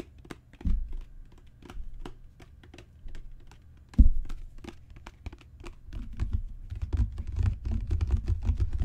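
Fingertips and long natural nails tap a solid, dark brown genuine leather book cover with raised spine bands. The result is a run of short, dry clicking taps with quick decay, punctuated by a few deeper soft thumps. The tapping grows denser and fuller toward the end.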